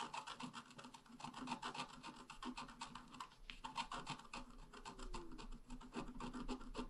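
A wooden stylus scratches fine lines into a flower on a flat black-coated scratch art paper card lying on a table. Quick, irregular rasping strokes repeat at about three to four per second, each a short dry scrape with a bright papery hiss and almost no ring.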